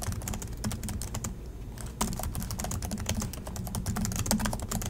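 Fingertips of both hands type steadily on the black plastic chiclet keys of a silver Acer laptop resting on a desk in dim light. Rapid, bright key clicks and clacks overlap, pause briefly, then resume over a steady low hum.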